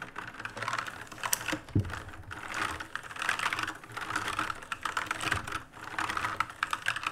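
Both hands rapidly press and sweep across the plastic keycaps of an RGB-lit black mechanical keyboard. A dense, continuous stream of sharp, bright plastic clicks and clacks follows, with short, dry key strikes and occasional louder taps.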